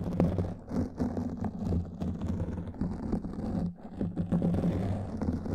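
Long nails scratch a black foam microphone windscreen, producing a dense, continuous crackling scrape. The sound is muffled and heavy in the low end, with a low rumbling whir underneath. It runs almost unbroken except for a brief dip in loudness near the fourth second.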